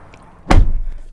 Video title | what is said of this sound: 2019 / 2020 Kia Sorento SX-L Review (DETAILED) - Kia's 3-Row Crossover SUV Gets Revamped - In 4K UHD | Very, very solid sounding door. Let's just close that one more time because I just love how solid this door sounds.